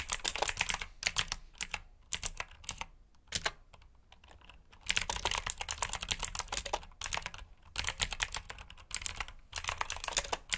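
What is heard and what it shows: Fingertips type on a black backlit mechanical keyboard with plastic keycaps, producing bursts of fast, bright clicky keystrokes with very short decay. The bursts are separated by brief pauses, with a longer quiet stretch in the middle.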